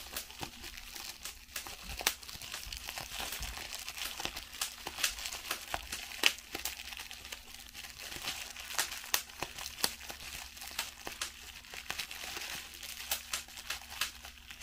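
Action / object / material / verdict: scrape / plastic bubble wrap / plastic / none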